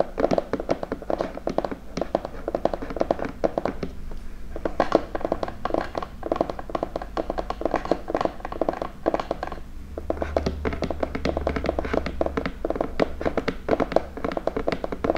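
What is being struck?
Cardboard gift box.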